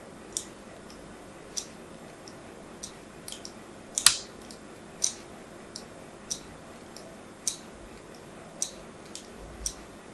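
A thin metal blade scores diagonal cuts into a solid white bar of soap held in the hand, making fourteen short, crisp, bright scraping clicks at uneven intervals. Each cut is a quick, dry snap that dies away almost at once, with the loudest one about a third of the way through.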